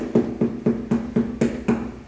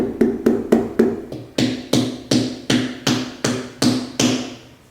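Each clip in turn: First: watermelon failing the knock test (underripe or overripe). Second: ripe watermelon.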